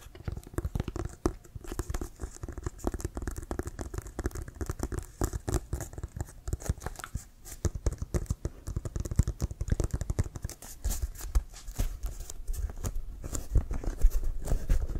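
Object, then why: Inflated synthetic-leather American football. Fingertips and nails tap quickly across the laces side of an inflated brown Wilson composite synthetic-leather American football held in both hands. The result is a dense, irregular patter of short, dull thumps with a low, hollow body and light scratchy clicks, each tap dying away almost instantly. The tapping grows slightly louder and heavier toward the end.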